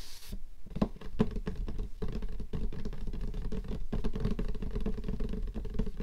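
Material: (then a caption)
Cardboard. Several long nails tap quickly along the lid surface and edge of a closed, hollow, light-blue cardboard gift box. The result is a dense, continuous patter of short, dull, hollow knocks with a low body and very little brightness, each tap dying away almost instantly. A brief bright hiss is heard at the very start.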